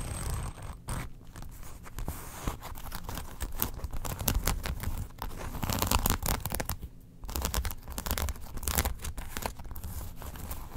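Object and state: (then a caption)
Faux leather wallet. A long, flat brown faux leather wallet, lying open with its card slots showing on a fur rug, is scratched and tapped with long acrylic nails. The result is a steady run of dry, crackling scratches and soft taps with a low, muffled body and short bursts of bright rasp. There are no pauses for most of the clip, with a brief quieter dip near the seven-second mark.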